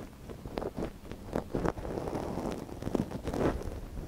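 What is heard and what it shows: A thin wooden stick held in gloved fingers scratches inside the canal of a small, soft silicone ear on a binaural microphone. Close, rustling scrapes come in short bursts over a low rumble, with no bright top.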